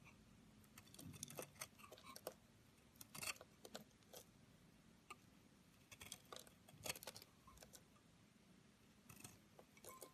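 A solid pink Camay bar soap held in the hand has its side shaved and cut with a metal knife, and brittle pink flakes pile up below. The sound is a series of quiet, crisp, bright scraping and crackling bursts with very short decay, coming in clusters over a low background hiss.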